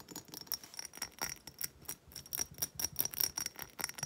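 A hobnail glass reed diffuser bottle with wooden reeds is held and then set on a table while long nails rapidly tap and scratch its textured glass. The result is a quick run of light, bright clicks and scrapes, with a faint, steady high glassy tone running through them.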